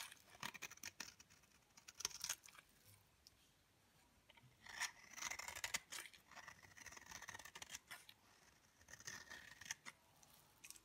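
A solid, dry yellow bar soap held in the fingers has flakes shaved off its edge and face with a utility knife blade. The result is quiet, bright, crisp scraping strokes that come in short bursts with brief pauses, with almost no low end and no ring after each stroke.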